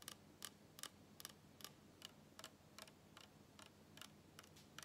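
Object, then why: Small full PET plastic soda bottle. A small, full PET cola bottle is turned sideways and handled while fingertips and nails tap and scratch its ridged plastic body. About 14 short, bright plastic clicks fall at an uneven pace over a quiet, low, steady hum. Each tap dies away almost at once.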